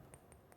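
A bottle is tapped three times to check whether it is glass or plastic, giving quiet, bright ping-like clinks that ring briefly. The ringing tone shows it is glass, and it is sorted into the glass category for waste sorting.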